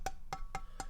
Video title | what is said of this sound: Keychron Q1: !build = Lavenders + Ink stabs + GMK WoB - 29OCT21 | if i tap this sounds so resonant